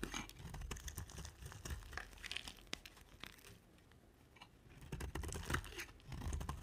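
An oval, solid pink bar of dry soap, held in a hand with long nails, is shaved into curls with a box-cutter blade. Dense, crisp scraping and crackling cuts repeat rapidly over a low, rough rumble. The cutting eases into a quieter stretch midway, then picks back up with brighter, crunchier strokes.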